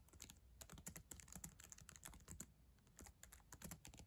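Long acrylic nails and fingertips type quickly on the plastic keys of a black ThinkPad laptop keyboard, a solid device. The result is a steady run of quiet, sharp clicks and taps with bright tips and a soft low thud under each, each dying away almost at once.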